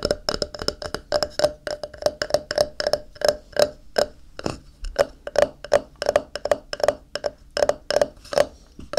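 A thin, solid white ceramic tile, held on its edge, is tapped along the edge with fingertips and nails in a quick, uneven run of light clicks and knocks. Each tap gives a short, hollow tone around 660 Hz with a bright click on top and almost no ring.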